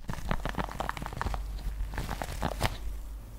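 Long painted fingernails scratch and brush the soft rubber nubs on the palm of a red pet grooming glove with grey fabric trim, held in one hand close to the microphone. The result is a dense run of quick, dry crackling scratches and rubbery brushing strokes over a deep low rumble.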